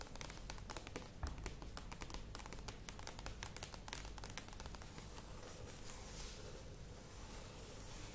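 Long nails tap rapidly on the sides of a medium cylindrical plastic yogurt tub with a lid, standing on a table. Quiet, dense clicky taps with bright edges and a low hollow thump run throughout. The sharp ticks thin out toward the end into a softer, steadier patter.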